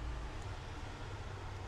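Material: Nothing is struck.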